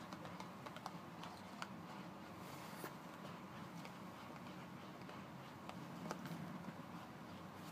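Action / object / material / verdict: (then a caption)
tap / paperboard toothpaste carton / paperboard / none. A closed, thin paperboard Colgate toothpaste carton, about 20 cm long, is turned over while fingertips tap and scratch along its printed surface. Quiet, continuous papery scratching and rustling runs underneath, broken by scattered light, crisp taps that click briefly and die away fast.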